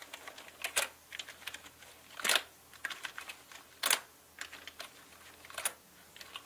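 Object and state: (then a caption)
Plastic mechanical keyboard. Fingertips slowly press the plastic keycaps of a full-size black mechanical gaming keyboard with a hollow body. Scattered, uneven bright clicks and clacks sound with short, dry decay, and a few keystrokes land noticeably louder than the rest.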